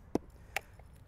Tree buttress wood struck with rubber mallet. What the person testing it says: this entire thing here is dead and rotting